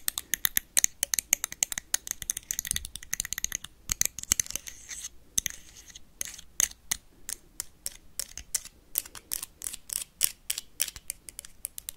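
A blue plastic toy lightsaber is tapped and scratched quickly with paperclips. The result is a dense stream of sharp, bright clicks with almost no low end, broken in the middle by a stretch of hissy scratching before the fast tapping picks up again.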